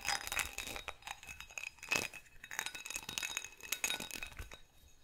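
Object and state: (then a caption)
Textured glass goblet. Fingernails scratch and tap the ridged bowl and stem of a hollow, empty, faceted textured glass goblet held in both hands. A dense run of quick, bright glassy clinks mixes with a dry scratching rasp; each tap has a faint pitched ping near 2.6 kHz that dies away almost at once.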